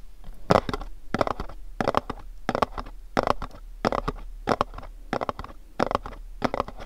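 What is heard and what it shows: A pink, cube-shaped printed cardboard candle box is held and tapped with fingertips and nails. The result is quick clusters of dry, crisp taps and scratchy clicks, repeating at an uneven pace. Each cluster is midrange-heavy, with a hollow papery body and no ring.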